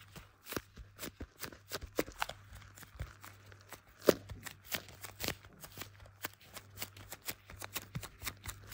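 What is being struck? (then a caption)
Smartphone in plastic case. Black leather-gloved fingertips tap and drag across the back of a blue iPhone in a clear plastic case with a MagSafe ring, held in both hands while it records. Dozens of quick, dry, sticky taps sound in an uneven rhythm, each dying almost instantly, with soft dragging rustles between them. A faint steady low hum runs underneath.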